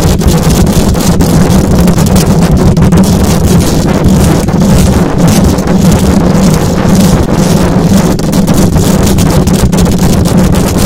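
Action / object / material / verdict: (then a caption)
scrape / metal mesh microphone grille / metal / none. Long acrylic nails scratch fast and hard across the hollow metal mesh grille of a silver condenser microphone. The sound is a dense, continuous scraping roar with a heavy low rumble, a steady band near 200 Hz and faint bright hiss on top. It holds loud and even throughout, with no clear gaps between strokes.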